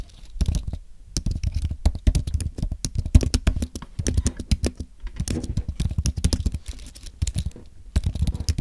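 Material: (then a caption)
Plastic, aluminum. Both hands type with their fingertips on a thin, solid white Apple Magic Keyboard with an aluminum base and plastic keys. Dozens of quick, dull, low-pitched taps fall in fast bursts, separated by brief pauses. Each keystroke is short and dry, with almost no ring.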